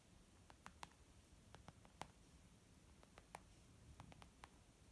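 Fingernails tap slowly and lightly scratch a white textured leather zip makeup pouch. The result is soft, dry clicks with no ring, scattered irregularly over a quiet, low background hiss.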